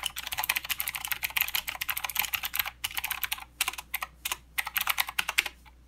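Both hands type with their fingertips on a full-size mechanical keyboard with plastic keycaps and blue clicky switches. Rapid runs of sharp, bright clicks with almost no low end are broken by brief pauses, and each keystroke dies away almost instantly.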